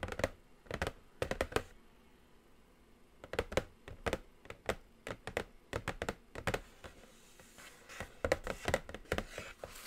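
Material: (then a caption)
Cardboard. Long nails tap and scratch across the top of a large, flat, black glossy Morphe cardboard eyeshadow palette box. The result is a run of short, dry, hollow clicks with a mid-range knock, in quick clusters separated by pauses. Near the end, a faint brighter scratching hiss sits under the taps.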